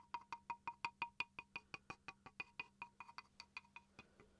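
A small, rectangular, solid wooden chopping board with a bamboo look, held upright in one hand, is scratched and tapped with the tip of a wooden pencil. About 23 quick, hollow, woody clicks come in a steady, slightly uneven run. Each has a clear tone near 940 Hz with bright overtones and dies away almost at once over a faint low hum.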